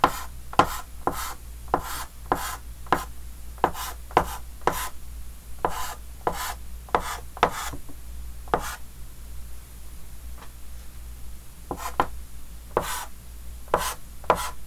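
A red chalk stick held by the fingertips taps and scratches short hatching marks on a large, flat, dark green wooden-framed chalkboard. About nineteen quick, sharp taps with brief bright scratchy strokes come in uneven bursts, with a quieter stretch in the middle. A steady low hum runs underneath throughout.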